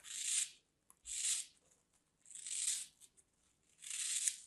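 A small solid piece of dry green floral foam, held in the fingers with long dark nails, is sliced with a thin metal craft blade that cuts and scrapes through the crumbly foam. Four soft, bright, hissy rasping strokes are heard, each about half a second long, separated by near silence with a few faint ticks.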